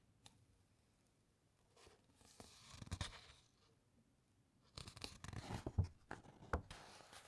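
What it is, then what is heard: Paper book pages scratched and turned. A long nail scratches along the printed, uncoated paper pages of a thick open encyclopedia, and pages are turned. Quiet papery scraping and rustling build around the middle, then a louder stretch of crisp page-turning rustles and soft flaps follows near the end.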